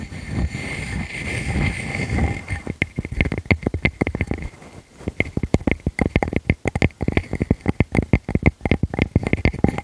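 Long fingernails scratch repeatedly across the face of a solid, palm-sized round wood slice with growth rings and a bark rim. A steady, rough, low-heavy rasp at first gives way to a rapid run of short, sharp scratches with brief pauses, each dying away almost instantly.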